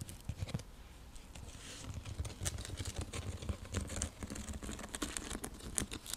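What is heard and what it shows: Long nails tap and scratch across a round, flat, coiled woven seagrass (straw) coaster used as a trivet. A quiet, steady patter of quick, dry ticks and scratchy rustles runs throughout, with a soft low thud under each tap and bright, crisp clicks on top that die away instantly.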